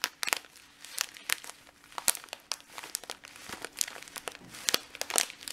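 A medium clear and red printed plastic bag full of dried green lentils is held in both hands and squeezed and crinkled with fingertips and short nails. Quick, bright, crisp crinkles and rustles come in irregular bursts with no ringing afterward, over a faint steady low hum.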